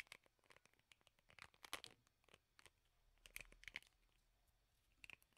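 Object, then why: Plastic hairbrush with rubber bristle pad. Fingernails strum and scratch the bristles of a teal plastic hairbrush with a black rubber bristle pad. The result is a quiet run of dry, crisp plucks and scratches, mostly bright and high with little low end. A few louder clicking bursts ring around 2 kHz, and each pluck dies away almost at once.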